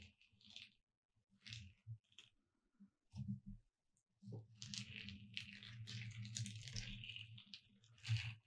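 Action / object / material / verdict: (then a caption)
scrape / glitter-coated foam or plastic cutout sign / foam / none. Long red acrylic nails trace over the letters of a flat gold glitter "Merry Christmas" hanging sign with red and green holly accents, about 40 cm wide, a thin glitter-coated foam cutout lying on a dark cloth. Scattered soft taps and brief scratches with a dull low thump and bright crackle come first, then give way to a steady, sustained scratchy rasp with a gritty high sparkle that ends in a firmer tap.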